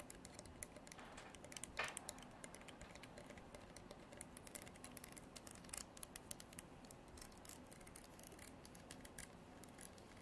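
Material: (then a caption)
Horn. Long black nails run across and strum the fine teeth of a translucent amber comb, probably horn. The result is a quiet, steady run of dense, bright ticking and scratching, with a few louder strokes standing out along the way.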